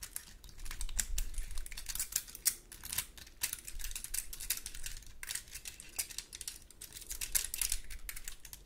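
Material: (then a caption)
Wood. A large, dry, woody pine cone held in the hand is scratched and tapped across its scales with long gold metal claw nails. The result is a quick, irregular stream of dry, crisp clicks and scratchy rasps, bright and short with almost no ring, over a faint low rumble.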